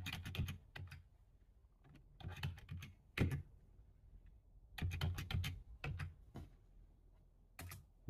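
Fingertips of one hand type on a full-size black plastic computer keyboard, producing quick clusters of key clicks separated by short pauses. Each press has a dull low thump with a bright clicky edge and dies away almost at once.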